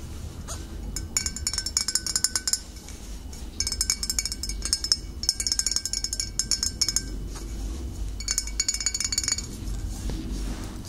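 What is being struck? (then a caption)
Glass bottle. Fingernails tap rapidly on a glass bottle in several bursts, producing bright, short clinking glass sounds with very little ring. A low steady hum sits underneath, and brief pauses separate the tapping runs.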